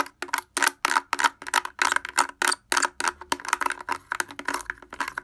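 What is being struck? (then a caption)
Plastic portable speaker housing. Fingers wearing wooden clothespins tap rapidly and irregularly on the front of a blue plastic portable speaker with a hollow housing and grille. Each tap is a short, dry, hollow clack with a bright click edge that dies away almost instantly, in a quick uneven patter.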